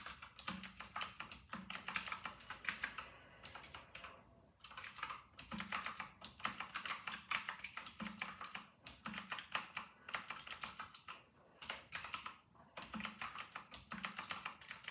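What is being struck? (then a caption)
Plastic mechanical keyboard with round keycaps. Both hands type rapidly on an RK960 full-size white and grey plastic mechanical keyboard with round typewriter-style plastic keycaps, resting on a white desk. The result is a dense stream of bright, sharp key clacks that die away almost instantly, broken by a few brief pauses.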